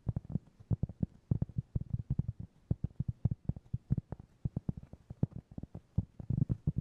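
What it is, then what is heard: Cork trivet. Fingertips tap and scratch a round, flat, solid cork trivet about 20 cm across, held in one or both hands. A rapid, uneven stream of quiet, soft, dull thuds centered low around 130 Hz, each dying away almost instantly, with faint scratchy rustle between them and no bright ring.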